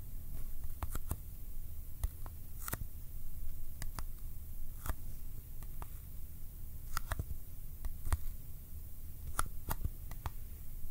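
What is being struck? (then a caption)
Small cardboard box. Sticky fingertips tap on the sides of a small, hollow Kodak ColorPlus cardboard film box held in one hand. Scattered, very short, dry taps with bright sticky clicks sit over a steady low background rumble, each tap dying away almost instantly.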